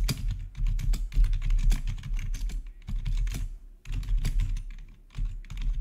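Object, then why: Plastic computer keyboard. Fingertips of both hands rapidly type on a full-size black plastic, RGB backlit gaming keyboard with a hollow housing, recorded close up. A quick, steady stream of short, dry key taps carries a low, hollow thud under bright clicks, with brief pauses between bursts.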